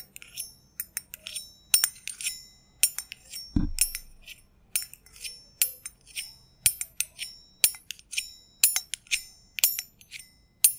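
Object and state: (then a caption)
Stainless steel jigger, ringing. A small, hollow, empty stainless steel double jigger, held in the hand, is tapped repeatedly with metal thimbles. The taps come as quick, irregular bright clinks with a high, bell-like ring that fades fast, and one duller, lower knock sounds partway through.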